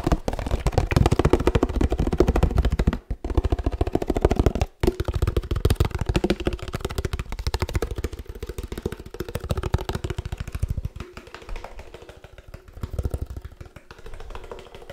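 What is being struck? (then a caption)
Laminated paperboard drink carton. Fingertips tap rapidly on a 1 L laminated paperboard oat milk carton held close to the microphone, making a dense, uneven patter of dull, low, hollow thuds with very short decay. The tapping runs almost continuously, with two brief pauses near the 3- and 5-second marks, and grows softer and sparser toward the end.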